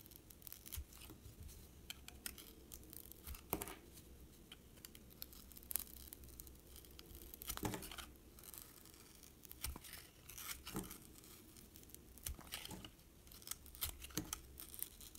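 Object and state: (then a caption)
Soap bar being shaved with a blade. A utility-knife blade shaves thin curls off the printed outer layer of a small, solid white soap bar with a colorful speckled surface, held in the hands. Soft, crisp scraping and cutting strokes repeat irregularly, each with a brief bright rasp over a steady low hum.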